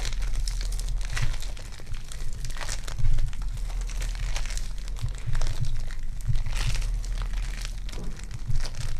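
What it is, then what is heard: Foam clay being kneaded. A small solid lump of sticky lavender foam clay (polystyrene bead clay) is pinched, pulled and kneaded between fingertips with long dark nails. It gives a continuous crinkly, crunchy crackle of dense, bright bead pops, with a few louder bursts, over a steady low hum.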